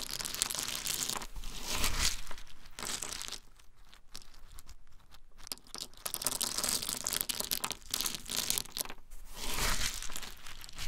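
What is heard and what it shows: Small, hard-shelled whole pine nuts in their shells are held in cupped bare hands and shaken and rubbed between the palms. A dense, irregular stream of bright clicking, rattling and crinkling comes in louder and quieter bursts, with a quieter stretch in the middle.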